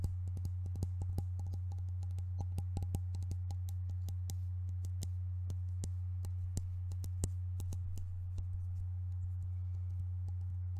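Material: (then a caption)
Metal. A tall white-and-silver metal shaving foam aerosol can, hollow and apparently still filled, is held upright in both hands and tapped with the fingertips and nails. The result is a quick, irregular run of sharp, bright clicks and light taps over a steady low hum.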